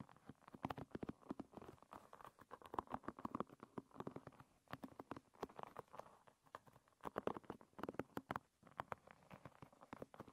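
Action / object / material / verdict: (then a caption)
flick / wooden-pin hairbrush / wood / none. A long red nail strums and flicks across the wooden pins of a hairbrush resting with its pins facing up. Quiet, dry, rapid clicks and ticks patter in uneven bursts, each snapping off almost instantly with a hollow midrange tone and little low end.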